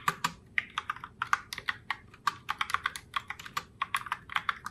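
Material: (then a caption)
Plastic. Long fingernails type continuously on a pink Logitech Pop Keys mechanical keyboard (Heartbreaker Rose) with round plastic keycaps. The result is a quick, uneven run of short, sharp, clacky plastic clicks centered around 1.2 kHz with bright edges. Each click dies out almost instantly.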